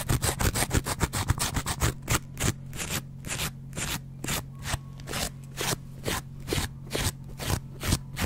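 A yellow foam kitchen sponge with a green scouring layer, held in a hand with dark-painted nails, is scraped and scratched with a metal double-edge razor blade. Rapid strokes in the first two seconds give way to slower, evenly spaced strokes, each a short, bright, crunchy tearing scrape over a steady low hum.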